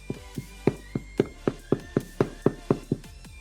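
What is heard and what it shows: A freshly baked white bread loaf, just flipped out of its tin, is tapped in a quick, steady series of dull, hollow knocks. Each tap is a short, low thud centered around 400 Hz that dies away almost at once. The hollow sound shows the loaf is done.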